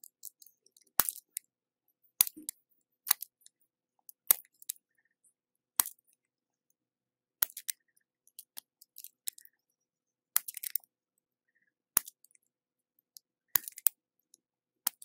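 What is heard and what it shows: A red plastic peeler with a metal blade shaves long, thin curls off the edge of a hand-sized solid block of orange soap held in the hand, in a continuous scraping peel. Quiet, sharp, bright crackling scrapes come in short bursts separated by silence, with almost no low end and no ringing.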